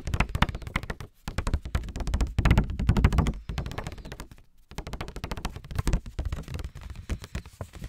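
A small pink lined paper index card pad, held in both hands, is tapped and scratched with fingertips and short nails. Rapid, dry, muffled taps and thumps, mostly low in tone, come in dense bursts with brief pauses near 1 and 4.5 seconds. A softer stretch of scratching and lighter tapping follows.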